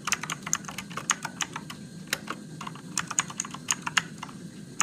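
Fingertips type steadily on a Motospeed RGB-backlit mechanical keyboard with plastic keycaps and blue switches. A quick run of sharp, bright clicky keystrokes sounds with very short decay over a low, steady background hiss.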